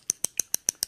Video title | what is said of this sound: All about the lips | you want to shake it up it has a little ball in there you hear it